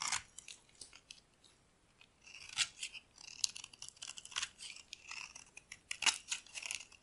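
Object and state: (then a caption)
Dry soap bar. A solid white bar of dry soap held in the palm is carved with a metal utility blade, sending crumbly flakes falling. Quiet, bright, crisp scraping and crunching cuts come in irregular bursts with short dry attacks and almost no low end, separated by brief near-silent pauses.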